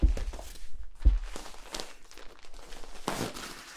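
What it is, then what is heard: Corrugated plastic tube. Fingertips scratch and tap the ribs of a long, hollow, yellow corrugated plastic tube, held upright and then sideways. Soft, low, hollow thumps mix with brief, bright, scratchy rasps across the ridges, with a longer rasping burst near the end.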